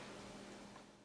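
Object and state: Nothing is struck.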